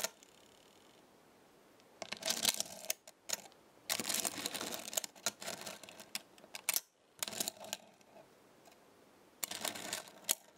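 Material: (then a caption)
Metal. Small thin metal stars on a black star-shaped magnetic base are plucked with fingertips and long nails and snap back, making bright, dry metallic clinks and rattles. The sound comes in several bursts of quick clicking separated by quiet pauses.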